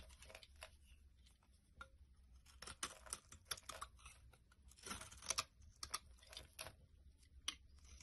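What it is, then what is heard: Bar of laundry soap being shaved with a blade. A solid tan bar of laundry soap, held in the hand, is shaved and chipped with a utility knife blade into crumbly layers. Bright, dry scraping strokes and crisp crackling snaps come in quick, uneven bursts over a faint low hum, with the loudest chips near the middle of the clip.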